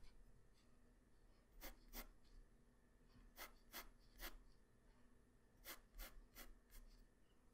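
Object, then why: Graphite pencil on a paper drawing sheet. A graphite pencil tip draws strokes on a flat white paper drawing sheet, making short, bright scratching rubs. The strokes come in quick clusters of two, three and four, separated by quiet pauses over a low steady hum.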